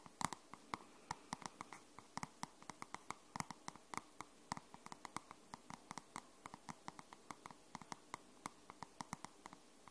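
Long nails tap and scratch the dark grey matte card cover of a grey paperback book. About fifty quiet, sharp clicks come in a steady, uneven patter, each dying away almost instantly with a dry tick centred near 1 kHz, and light scratching can be heard between them.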